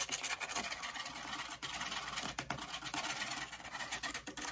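A flat brown corrugated cardboard piece is held up and turned while long acrylic fake nails scratch its face and corrugated edge. The result is a continuous, dry, bright scratching with a rapid patter of short, closely spaced strokes, concentrated in the upper range with almost no low end.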